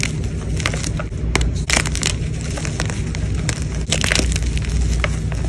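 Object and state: Gym chalk block being crushed.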